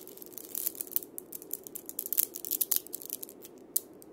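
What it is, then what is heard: Wood and steel-bead cabasa. A single wood and steel-bead cabasa is held in the hand while fingers roll and scratch the steel beads over its wooden body. The result is a dense run of bright, dry rattling and scratchy clicks in irregular bursts, over a faint, steady low-mid hum.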